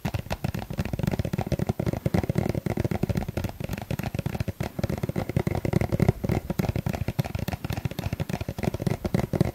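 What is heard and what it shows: A small, hollow yellow plastic suncream tube, held in the hand, is tapped with a fingertip and a fingernail. Rapid, continuous dry taps and clicks run throughout, each short and bright with almost no ring, over a low, hollow thump.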